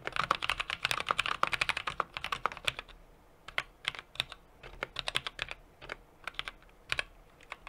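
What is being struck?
Mechanical keyboard with metal case and plastic keycaps.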